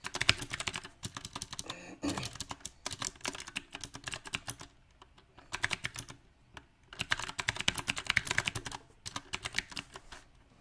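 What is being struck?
Mechanical keyboard with round plastic keycaps.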